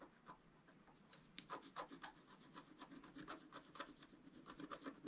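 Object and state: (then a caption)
Scratch-art card being scratched. A wooden stylus scratches lines into the coating of a flat, black-coated scratch-art card. Quiet, dry, bright rasping strokes repeat in an irregular rhythm of about four per second. Each stroke stops short with no ring.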